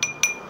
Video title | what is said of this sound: ilmu kebal dan tenaga dalam | kalau resin itu diketik nggak bunyi kayak gini nggak bunyi bunyinya Ting Ting Ting berarti kaca